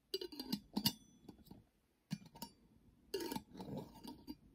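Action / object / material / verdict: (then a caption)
tap / small glass jar with metal screw lid / glass, metal / none. Long fingernails tap and scratch the silver metal screw lid and the glass of a small, round, clear glass jar that is hollow with a few colorful items inside. The result is clusters of bright, short clinks with a high ring and scratchy rustling, separated by brief pauses of near silence.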